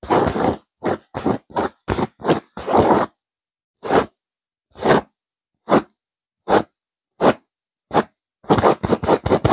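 Long nails scratch a stuffed pillow with a blue burnout velvet cover and a cream petal pattern while the hand grips it. There are 18 separate rough, raspy scrapes with a bright, fuzzy top: quick bursts at first, a slower spaced run, then a final rapid flurry.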